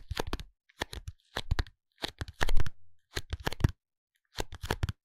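A small pink cardboard soap box, held lying flat in both hands, is tapped and scratched on its top face with the fingertips and nails. The sound comes in short clusters of dry, quick taps and scratchy rustles separated by brief silences, with one louder, smoother scrape near the middle. It is close and crisp, each tap dying away almost instantly.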